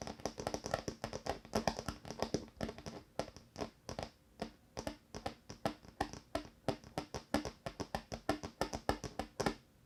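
Fingertips tap rapidly and unevenly across a wooden table top. The result is dozens of short, dry knocks with a mid-range hollow tone around 660 Hz and bright clicky edges. Each tap dies away almost at once against a quiet background.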